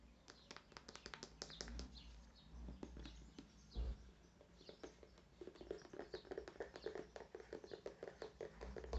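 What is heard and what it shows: A white/clear plastic squeeze tube of skincare product, hollow and apparently full, is held in hand and tapped with fingertips and nails. Quiet, dry, short taps and clicks come in quick irregular bursts with almost no ring, over a steady low hum.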